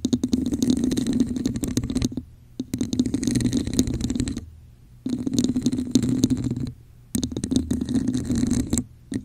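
Long nails rapidly tap and scratch the top and sides of a hollow red textured plastic cup placed over a microphone. The sound comes in four dense bursts of clicky, scraping taps with a hollow, boomy resonance around 250 Hz, separated by brief silences. Each tap dies out almost instantly.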